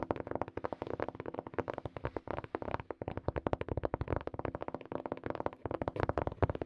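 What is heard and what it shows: Long nails and fingertips tap rapidly on a small, hollow, black hard-shell plastic earphone case held in both hands. About 32 quick, dry, hollow clicks land in an uneven patter, with a soft low-mid body and no ring after each tap.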